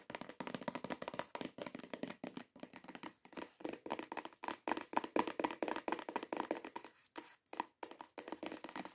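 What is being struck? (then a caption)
Cardboard perfume box. Long nail tips and fingertips tap fast on a hollow cream cardboard perfume box. The result is a rapid, uneven run of dry, hollow clicks and taps with a midrange tone, almost no bass and no ring after each hit.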